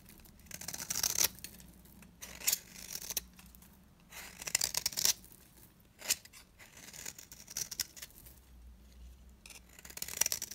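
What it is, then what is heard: Dry bar soap being carved. A large, round, cream-colored bar of solid dry soap is held in the hand and carved and scraped with a utility knife blade, sending chunks and curls falling. Bursts of dry, crisp, bright scraping and shaving come in uneven clusters, with quiet pauses between strokes.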